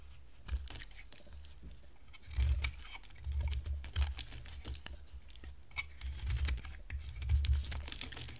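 A solid, hand-sized bar of dry white soap with a teal layer is shaved and carved with a box-cutter blade. Crisp, dry scraping and crackling strokes come in quick succession, with heavier low-thudding bursts as the blade digs in around the middle and near the end. The passes are short and bright, with little ring after each cut.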